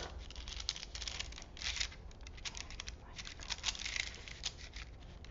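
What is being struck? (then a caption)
Paper film strip. Fingertips rub and press along a long printed paper film strip from a vintage toy movie reel, partly unrolled from its small spool and laid flat on a wooden table. The result is soft, bright crinkling with many quick, crisp rustles and little ring after each.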